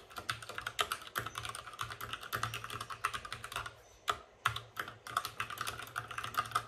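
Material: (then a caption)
Plastic. Fingertips of both hands type fast on a white RGB-backlit mechanical keyboard with plastic keycaps and a hollow plastic case. A rapid, steady stream of sharp, clacky keystrokes centers around 1.3 kHz with bright attacks and a faint low thump. There is a brief pause near the middle before the typing resumes.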